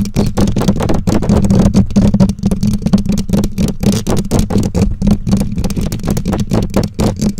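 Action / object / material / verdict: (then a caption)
scrape / metal mesh microphone grille / metal mesh / none. Long nails scratch and tap the bare black metal mesh grille of a condenser microphone. The result is a dense, fast, irregular stream of short, dull thumps and rustling scrapes. It is heavy in the low end, with a steady low droning tone underneath and very little bright content.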